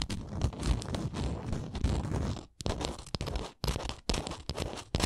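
Long nails scratch the edges and printed face of a small, solid, printed wooden Canada souvenir ornament. The scratching comes out as dense, low, rough crackling and scraping in short bursts, separated by brief silent gaps.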